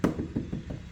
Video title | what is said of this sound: 2022 Suburban Emblem Change | that is plastic. I know that because one, it sounds like plastic